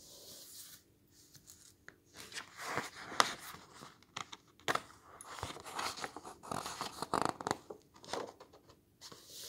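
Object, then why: Paper pages of a hardcover book. Fingertips rub, smooth and turn the illustrated paper pages of a large open hardcover book lying on a table. Soft, dry papery swishes and crinkly rustles come in uneven bursts, with brief sharper flicks and quiet gaps between strokes. The sound is mostly bright and airy, with almost no low end.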